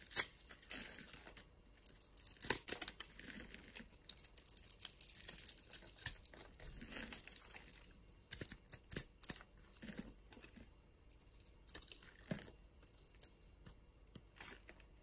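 A utility knife blade scrapes and carves small cubes off the surface of a solid, palm-sized orange bar soap held in the palm, with long glitter nails in view. Dense, bright, crisp scraping and crackling cuts come in uneven bursts, with sharp high clicks and a quiet background between strokes.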